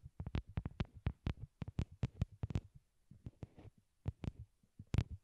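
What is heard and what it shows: A pair of small white hollow plastic wired Apple earbuds, used as the microphones, rest on a cork board and are tapped with long glittery nails. About 17 short, dull taps land in an uneven rhythm, each a deep low thump with a brief bright click on top. The sound dies almost instantly, leaving near silence between taps.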